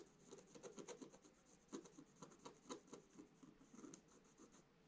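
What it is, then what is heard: Scratch-art paper being scratched. A thin wooden stylus held in the fingers scratches lines into the black coating of a scratch-art page in a book lying flat on a table, while the other hand steadies the page. The result is a quiet series of quick, uneven raspy scratching strokes with a bright, hissy edge over a soft mid-range body.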